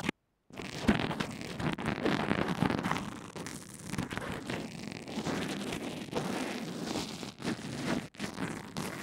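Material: Fabric bandage.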